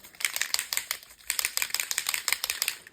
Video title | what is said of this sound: Mixed Media Fun - Make lots of Different Things this Way! + FREEBIE #mixedmedia #junkjournalideas | shake it until you can hear the ball